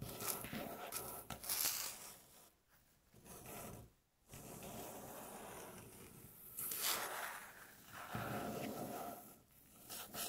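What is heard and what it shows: Long natural fingernails scratch and tap on a light-colored, flat, solid wooden tabletop. Bright, hissy scraping comes in broad bursts separated by brief quieter pauses, with soft taps mixed in.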